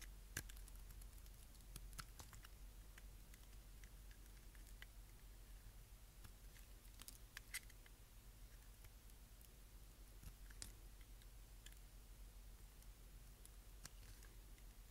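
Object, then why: Bar of soap scraped with a knife blade. A utility knife blade scrapes the edge of a small, dark, solid block of dry bar soap held in the fingers. Quiet, irregular, sharp and bright crackling scrapes and clicks repeat throughout over a steady low hum, each snap dying away almost at once.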